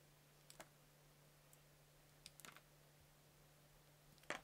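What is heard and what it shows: A palm-sized solid soap cube with multicolored layers, held in a hand, is sliced into thin curls with a yellow utility knife blade while a fingertip guard is worn. The cutting and scraping come through as short, crisp clicks and scratchy ticks with bright edges, spread out over a quiet background with a steady low hum. The last cut is the loudest and briefly grows fuller.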